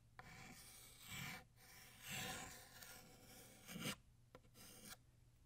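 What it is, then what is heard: Chalk writing on a chalkboard. White chalk writes the cursive words "New Year" on a flat black chalkboard. The chalk strokes give a dry, bright rasping scrape that swells and fades across several strokes. Short pauses and light taps fall between them.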